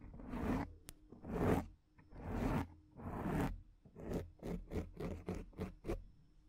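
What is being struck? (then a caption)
Foam microphone windscreen. Fingertips and long nails scratch the sides of a black foam microphone windscreen, producing close, rough scraping with a heavy low rumble and a hissy, bright top. Four long, swelling strokes are followed by a run of quicker, shorter scratches, each dying away almost at once.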